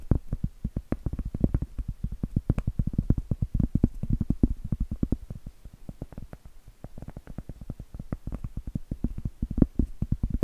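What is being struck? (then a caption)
Cork trivet tapped with fingernails. Acrylic nails tap and scratch the flat face of a round solid cork trivet. A steady stream of quick, dull, low-heavy taps dies away almost instantly, with soft scratching between them and no bright ring.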